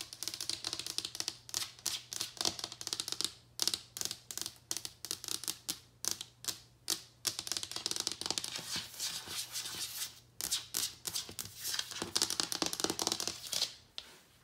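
Wood-grain floorboards are tapped and scratched with fingertips and nails in fast, typewriter-like bursts of sharp, bright clicks that stop dead with almost no ring. The runs of tapping break off in short pauses throughout, over a faint steady low hum.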